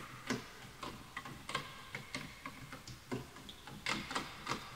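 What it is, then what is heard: Bamboo wooden keyboard typing. Fingertips type on a full-size bamboo wood computer keyboard with wooden keys, while the mouse is not touched. Soft, irregular clacks with short, dry decay have a hollow woody knock and a bright click on top, over a faint steady hiss.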